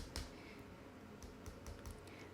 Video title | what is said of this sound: Review setelah 2 minggu pake Realme 5i, seperti apa? | bodinya sendiri dia ini sebenarnya plastik di ketok-ketok dia bunyinya bunyi plastik